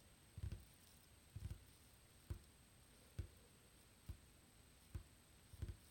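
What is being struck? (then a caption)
Wooden tabletop. Fingertips tap and drum on a flat, solid, dark-stained wooden tabletop with visible grain, beside a small hourglass that stays untouched. The taps come about once a second at an uneven pace, some landing as quick double or triple drums. Each is a soft, low, dull thud that dies away almost at once over a quiet background with a faint steady high tone.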